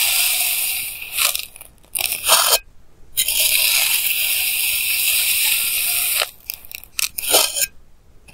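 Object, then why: Block of kinetic sand cut with a plastic knife. A clear plastic knife held in hand slices thin layers from solid pink kinetic sand blocks, picked up by a clip mic. The sound is bright, gritty scraping and crunching: long sustained cuts alternate with shorter scraping bursts and brief quiet gaps.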